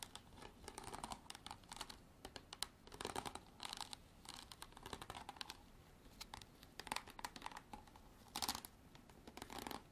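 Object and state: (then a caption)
Plastic water bottle. Long black artificial nails tap and scratch the ridged sides of a clear, hollow, hard plastic drink bottle held in hand and partly filled with water. The result is rapid, quiet clicking taps mixed with bursts of dry, crinkly scratching, bright and crisp, with almost no ring after each touch.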